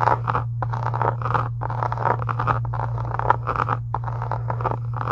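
Long acrylic nails scratch and tap across the surface and edge of a closed pink embossed faux leather journal cover resting on a desk. The result is a dense stream of dry, crunchy scratches and quick taps that swell and pause in bursts. A steady low hum runs underneath throughout.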